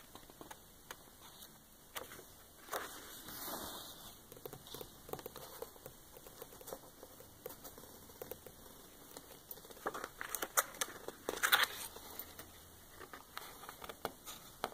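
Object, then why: Glossy paper book page. Long manicured nails on ringed fingers tap and rub the thick glossy printed pages of a large hardcover coffee table book lying open, then lift a page to turn it. Quiet, dry, bright pattering taps and soft crinkling rubs are heard throughout, with a broader papery swish around four seconds and sharper crackly taps near the end.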